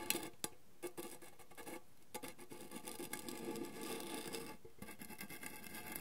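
Fingertips and nails tap the printed lid of a round, hollow gold metal tin of Cavendish & Harvey mixed fruit drops, likely with candy inside. A quick, uneven patter of light, bright metallic ticks with a faint ring around 344 Hz, each fading almost at once. Between taps, a soft low hiss fills the gaps.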